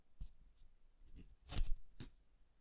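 A red cardstock card is opened by hand to reveal a yellow paper pop-up guitar, as fingertips handle, fold and rub the paper. Quiet, dull paper rustles and soft taps come through, with a slightly louder brushing swell near the middle before it fades back to near silence.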